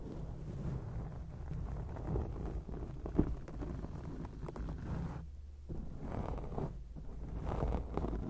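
Long acrylic nails on both hands scratch a black foam microphone windscreen, making a dense, muffled rumble and soft scraping that stays low and dark. One sharper scratch stands out near the middle, and the scratching briefly thins out before building back up.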